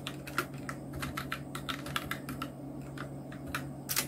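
Both hands' fingertips type on a full-size black Nubwo Illution NK-70 mechanical keyboard with Outemu red switches, round plastic typewriter-style keycaps and blue backlight, resting on a white desk. A steady run of short, crisp plastic clacks is heard, each keystroke ringing briefly around 1.4 kHz with bright ticks on top, over a faint constant low hum.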